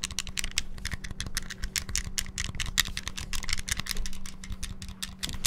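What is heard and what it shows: Fingertips rapidly press the buttons of a small, hollow, clear transparent plastic Game Boy handheld with a red cartridge inserted. A dense, fast stream of short, bright plastic clicks and taps runs throughout, each dying away almost instantly, over a steady low hum.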